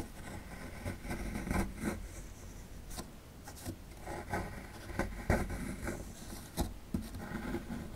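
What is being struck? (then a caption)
Plaster dig block gouged with a metal pick. A metal pick gouges a cavity into the right end of a solid plaster fossil dig block held in hand, making a steady gritty scraping and rubbing. Several sharper cracks stand out as chunks break off.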